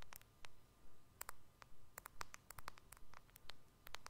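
Fingernails tap on the glass screen of a white iPhone-style smartphone with a purple edge, which is held sideways. The result is a quick, fairly steady series of crisp, bright clicks that die away almost instantly, over a faint low background rumble.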